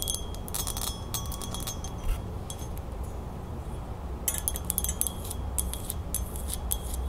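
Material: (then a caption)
Metal. A small, hollow, silver-toned metal crown-shaped ring holder is held in the hand and turned over while long nails tap and scratch its points, rim and flat underside. The result is quick, bright, high-pitched metallic clicks and short chiming rings that die away fast, heard in two dense bursts over a steady low rumble.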